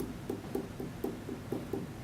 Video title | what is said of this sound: Bowl Demo | when you tap on it and it's thick it sort of sounds like a dull thud